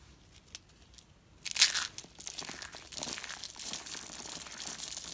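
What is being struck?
Coiled soap curls.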